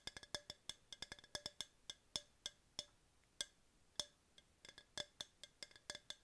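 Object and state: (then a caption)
Hard plastic tumbler. A tall, hollow, empty yellow hard plastic tumbler, held in both hands, is tapped with long pink nails in an uneven rhythm of about two dozen quick taps. Each tap is a sharp, bright, wood-block-like click with a high hollow ping near 3.4 kHz, almost no low end, and a very short decay.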